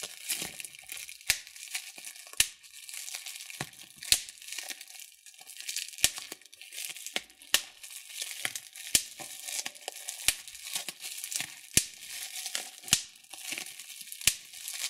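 Thumbs press clear plastic bubble wrap, popping the air bubbles one after another. Sharp, bright snaps ring out at irregular intervals over a steady high crinkling of the plastic, with each pop cut off almost instantly.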